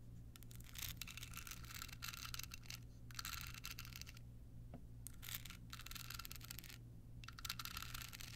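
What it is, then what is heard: Rhinestone-covered card holder. Long nails scratch a small hollow rhinestone-covered card holder with a red bow as it is turned in the hands. Bursts of bright, crackling scratching come in stretches separated by short pauses, over a steady low hum.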